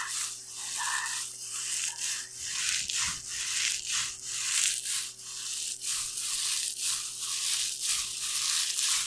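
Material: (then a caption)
Plastic foil. A hand-sized pink metallic plastic foil tinsel pom-pom, its shiny strands light and loose, is held in both hands and crinkled and shaken close to a microphone without touching it. The result is a continuous bright, hissy crinkling and rustling that swells in loose, roughly once-a-second pulses, with almost nothing in the low end.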